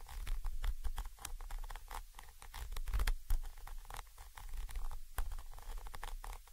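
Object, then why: Metal microphone capsule with mesh grille. A thin orange stick rapidly taps and scratches the side of a Zoom H5 XY microphone capsule, a small chrome metal body with mesh grilles. The result is a dense, uneven patter of short, dry clicks and scrapes, each with bright high crackle, over a heavy low rumble that swells and dips throughout.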